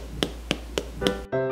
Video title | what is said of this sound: Step by Step Guide to Delicious Burger Buns - 2 Ways - Which is Better? Differences? | tap its bottom and it should sound hollow